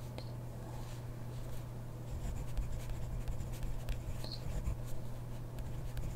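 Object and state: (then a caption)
Pen writing on a paper notebook page. A hand writes with a ballpoint pen on a grid paper notebook page, the pen tip scratching softly across the paper in short, uneven strokes. The quiet scratching rides over a steady low hum, with a few faint bright ticks, and grows slightly busier after the first two seconds.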